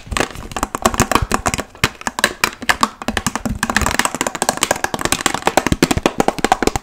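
A large, clear, hollow plastic water bottle, partly filled, is tapped rapidly with long nails covered in paperclips. The result is a quick, uneven run of dry, sharp clicks and taps with bright tops, a hollow mid-pitched tone, and almost no ring after each hit.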